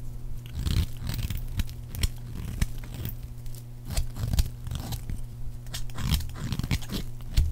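A palm-sized, solid green rectangular bar of dry soap is shaved with a metal blade into long, thin strips. Dry, crunchy scraping and cutting strokes come in short bursts with brief high, bright crackles over a steady low hum.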